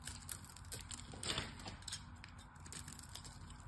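A solid pink glycerin soap bar held in the hand is scored and chipped with a small metal blade. Quick, crisp scraping and ticking chips sound bright over a low, steady background rumble, with one louder scrape near the middle.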